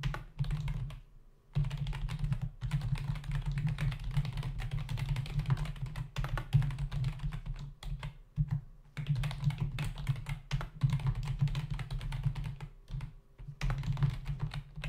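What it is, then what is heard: Plastic computer keyboard. Fingertips of both hands type rapidly on a full-size black plastic membrane keyboard with hollow keys, resting on a dark desk. The result is a dense stream of quick, hollow, low-thudding key taps with short, dry clacks. Typing pauses briefly near the start, around the middle, and near the end.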